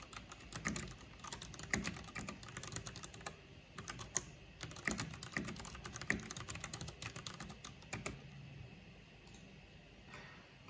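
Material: Plastic.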